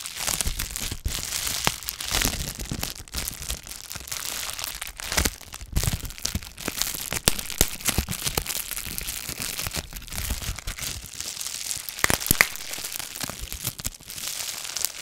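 A small, hollow, clear plastic bubble-wrap pouch with a small dark item inside is held in front of the microphone and squeezed and crinkled with fingertips and long nails. It gives a steady, bright crinkling with dense sharp crackles and snaps throughout, each one dying away at once, with a few louder pops near the end.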